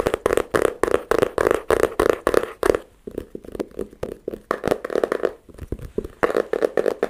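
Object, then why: Flat wooden board. A flat, rectangular, light-colored wooden board about a hand's width across, solid-looking, is held in both hands and tapped on its face with the fingertips and short nails. Quick runs of dry, hollow taps center on a woody tone around 430 Hz, each dying out almost at once. There is a brief lull near the three-second mark before the tapping picks back up.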